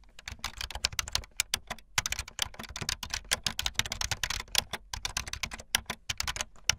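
Long light-blue fingernails type fast on a full-size plastic keyboard with white, blue and yellow plastic keycaps and a blue backlit frame. A rapid, uneven stream of short, bright, clacky keystrokes follows, each one dry and dying away almost instantly, with a faint low thump under the taps.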